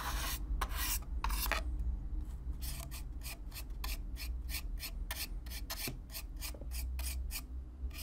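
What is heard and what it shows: A stiff black-bristle brush is scrubbed across the surface of a hollow brown corrugated cardboard box, close up. Repeated bright, raspy scratching strokes come in an uneven rhythm over a steady low hum.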